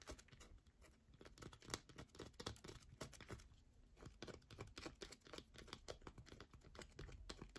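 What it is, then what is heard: Bar of soap. Long fingernails rapidly scratch and tap the face and edge of a solid yellow bar of soap held in the hand. The result is a dense run of dry, crackling scratches and sharp, quick taps, with bright broadband clicks over a soft low thud and no ringing after each stroke.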